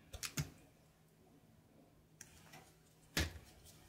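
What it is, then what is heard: Soap bar being sliced. A knife cuts slices from a grey soap bar held in the hand, making crisp, bright crunching snaps with a soft low thud. Three quick cuts come first, then a fainter one after a pause, and a final louder slice near the end.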